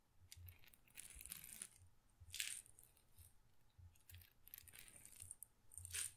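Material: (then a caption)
Glass. A small glass pepper grinder jar, partly full of peppercorns, is tilted and shaken by hand so the peppercorns rattle inside the glass. Bursts of bright, crisp clattering rise and fall, with soft low thumps underneath and short quiet gaps between shakes.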